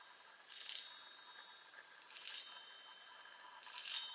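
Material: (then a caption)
Metal. Long nails tap the hollow metal tubes of a small handheld chime instrument mounted on a wooden frame. Three short bursts of light taps each ring out with high, bright metallic tones that fade quickly, separated by quiet gaps.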